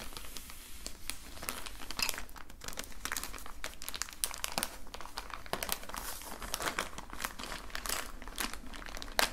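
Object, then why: Plastic zip-lock bag holding colored pencils. A clear plastic zip-lock bag of colored pencils lies on a blue towel while both hands handle it, crinkling the plastic and rubbing it with the fingertips. Dense, irregular bright crinkles and crackles come in quick bursts over a steady low hum, with no ring after each sound.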